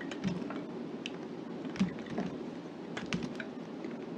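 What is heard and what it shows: A gloved hand holds a solid light green soap bar and carves it with a knife blade, chopping off small cubes. Each cut gives a short, soft, crisp tick with a little bright edge and no ring. The ticks come irregularly over a steady low background hum.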